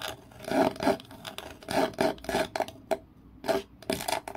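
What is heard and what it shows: Long nails scratch and rub along the surface of a light-colored wooden kitchen utensil, a flat solid wooden piece held in the hand. The result is dry, raspy scraping strokes in irregular bursts, with a midrange tone and very little deep bass.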